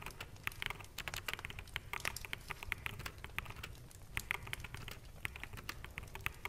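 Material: Plastic.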